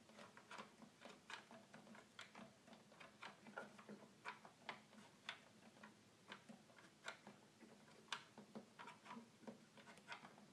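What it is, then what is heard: Plastic toy keyboard. Fingertips tap the keys and plastic panel buttons of a hollow red plastic toy keyboard, producing about 17 quiet, short, bright clicks at an irregular pace. The clicks die away almost instantly over a faint, steady low hum.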